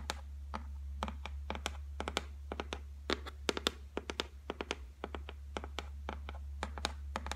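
Long white nails tap rapidly on the flat, solid top of a white laminated shelf, making a quick, uneven run of short, crisp clicks with bright edges and almost no ring. A steady low hum sits underneath throughout.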